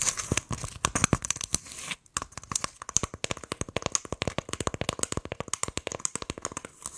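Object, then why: Coconut shell half. Long acrylic nails tap and scratch the fibrous outer surface of a hollow, empty brown coconut shell half held in both hands in front of the mic. A rapid stream of dry, sharp clicks and scratchy crackles with a bright, papery edge dies away instantly. There is a brief pause near two seconds before the tapping resumes.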